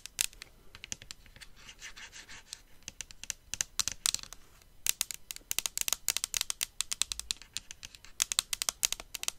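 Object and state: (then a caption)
Plastic hair styler handle. Long acrylic nails tap and scratch along a grey and pink metallic-finish plastic hair styler handle (Dyson Airwrap-style), a hand-sized hollow cylinder held upright over its case. Dense, bright clicks and scratchy rasps run throughout, with a faster burst of sharp taps in the second half.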